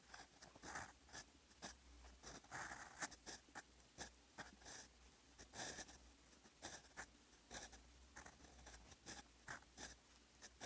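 A steel fountain pen nib in blue ink is written across a lined paper notebook page. The sound is a quiet, bright scratching in short strokes, with brief sharp ticks between them. A faint steady low hum runs underneath.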